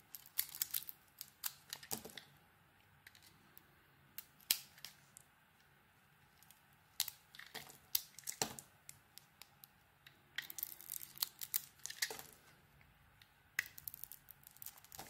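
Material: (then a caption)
Soap. A metal blade peels and shaves the outer layer of a solid, orange-dotted soap bar with a pale core. Crisp, bright scraping strokes and short dry crackles come in irregular bursts, separated by quiet pauses. The sound has almost no low end and dies away instantly after each stroke.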